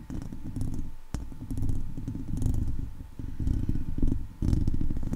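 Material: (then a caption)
Steel mesh. Long nails tap and scratch the top of a hollow steel wire-mesh microphone head, then a hand grips and rubs the mesh. The result is a close, boomy stream of dense scratching, scraping and rustling, heavy in low rumble with sharp clicks.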